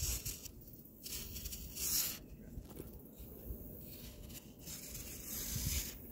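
A metal palette knife with a black handle scrapes and carves the side of a large, solid, round tier of compacted layered sand, and clumps of sand fall away. The clip is a series of bright, gritty scraping bursts over a soft, low, crumbling rumble, with short quieter gaps between strokes.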